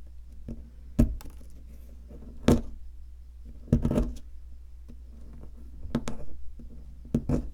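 A pointed wooden stick scratches and digs into the center hollow of a solid white, palm-sized plaster block shaped like an ammonite. Soft scraping runs over a steady low hum, broken by short, dull knocks and gritty bursts that die away almost at once.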